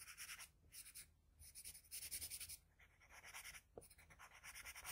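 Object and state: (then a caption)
Pencil scratching on drawing paper. The graphite tip of a wooden pencil scratches short strokes at the ear area of a portrait on flat white drawing paper resting on a desk. Quick, bright, high scratching comes in bursts of rapid strokes separated by brief quiet gaps, with a soft low rumble underneath.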